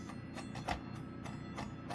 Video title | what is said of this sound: COOL Ultraguard OI 012 Linecord Smoke Alarm Unboxing and Test | it sounds like it's like a very thin metal material